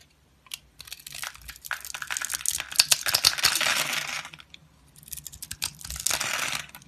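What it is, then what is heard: Bar soap being cut and scraped. A utility knife with a green handle cuts and scrapes across the scored grid of a solid, rectangular blue bar of soap with an embossed logo, held in hand, and small cubes crumble off. Dense, bright, crackly crunching and crumbling comes in two main stretches, from about 0.8 to 4.4 seconds and again from about 5 to 6.8 seconds, with a brief quiet gap between. Each tiny snap dies away almost instantly, with almost no low end.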